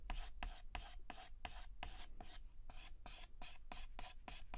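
Fingertips hold a stick of yellow chalk and shade a petal on a flat, solid black chalkboard with rapid, short scratches. The result is a steady run of bright, dry rasping strokes over a faint low hum.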